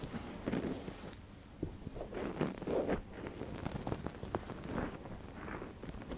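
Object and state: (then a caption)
Silicone ear scratched with a wooden pick. A gloved hand pushes a wooden ear pick into the canal of a soft white silicone ear model on a binaural microphone and scratches inside. The sound is close, muffled scraping and rustling in uneven bursts, with brief crackling clicks and little high content.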